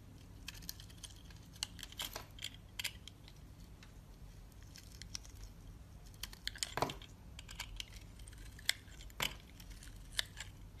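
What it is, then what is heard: Bar of soap being scraped with a blade. A utility knife blade scrapes the honeycomb-textured surface of a solid, hand-sized green bar of soap held in the hand, shaving it into crumbly flakes. The sound is a quiet run of dry, bright scratches and crisp crackling clicks at irregular intervals, with a few sharper snaps standing out. A faint low hum runs steadily underneath.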